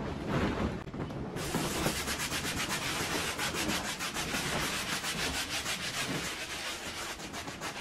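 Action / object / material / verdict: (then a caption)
scrape / woven pile rug scrubbed with a foamy brush / textile / none. A handheld scrub brush works white foam into a faded, muddy, patterned pile rug with fringe, lying flat, in repeated strokes. The fiber type is uncertain. A steady, rhythmic scratchy scrubbing with a bright bristly hiss starts softly, then gets louder and fuller after a moment and continues evenly to the end.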